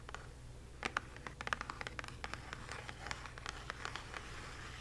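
Long nails scratch and trace across the printed face of a small, hollow "Magic Delivered" kraft cardboard box, and several nails tap along its bottom. Quick, dry scratches and light taps come in an irregular stream over a quiet, low hum.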